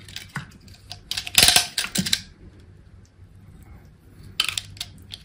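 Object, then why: Bar of soap cut with a knife blade. A hand-held chunk of pink and green solid bar soap, already partly carved, is cut and scraped with an orange utility knife blade, held in long pink nails. Crisp, bright scratching and crunching bursts come in clusters, loudest around the middle, with quieter scraping between and another flurry near the end.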